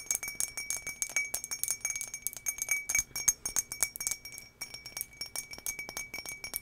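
Long nails tap all over the outside of a medium, empty turquoise drinking glass with an embossed, textured surface, held in hand near the mic. The quick, irregular taps make bright glassy clicks with a steady high ring and a faint tone near 2.3 kHz. Each tap dies away almost at once.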